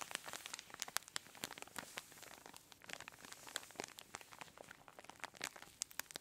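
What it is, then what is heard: Plastic zip bag of kinetic sand being squeezed. A clear plastic zip-lock bag full of orange kinetic sand rests on a table and is squeezed and crinkled by both hands with long nails. The result is a dense run of bright, sharp plastic crinkles and crunches with soft grainy rustling in between, almost nothing in the low end.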